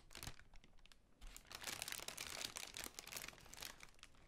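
A large, hollow, pale pink tissue paper honeycomb ball has long pink nails scratching and tapping along its folded paper cells. The result is a quiet, bright crinkling with many quick, dry taps and rustles, denser in the middle of the clip.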